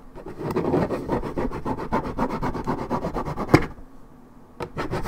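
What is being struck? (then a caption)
Coated paperboard juice carton. Long nails scratch the side panel of a hollow Minute Maid 1.75 L coated paperboard juice carton, its fill unknown, in a rapid run of dry, rasping strokes with a low papery body. A sharper scrape stands out near the end of the run, a brief quiet follows, and then the scratching starts again.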